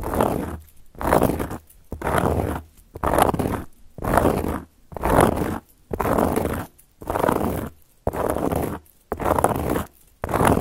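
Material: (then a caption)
Cork. Long gold metal claw nail caps scratch and trace across a solid, round, flat cork board in about eleven separate strokes. Each stroke is a dry, rasping scrape that swells and fades over under a second, with short quiet gaps in a steady rhythm.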